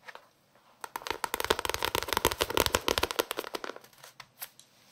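Fingertips tap and scratch the paper page edges and cover of a small paperback novel. After a few soft taps, a dense run of quick, dry, crackly ticks and scrapes builds up, bright and papery with little low end, then thins out to scattered taps near the end.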